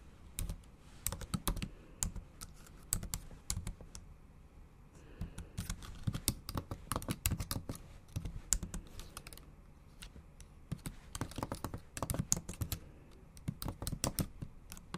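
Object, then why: Laptop keyboard with plastic keys. Long acrylic nails tap and type on a MacBook Pro's black plastic keys set in an aluminum body. Quick, dry clicks come in irregular bursts with brief pauses, each with a soft low thump under a bright, clicky edge that dies away almost instantly.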